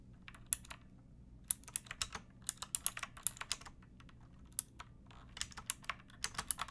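A pink plastic mechanical keyboard with round backlit keycaps and a hollow body is typed on with long painted nails and fingertips. Around 29 sharp, bright clicky keystrokes come in uneven bursts, each dying away almost instantly. A faint low hum sits steadily underneath.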